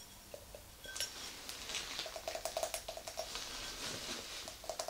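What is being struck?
Glass tumbler.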